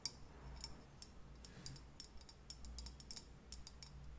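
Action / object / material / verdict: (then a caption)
tap / ceramic cup-shaped candle holder / ceramic / none. Long nails tap a pink leopard-print ceramic cup-shaped candle holder, held in both hands with a lit candle glowing inside. A series of quiet, bright, clicky ticks dies away almost instantly over a steady low hum.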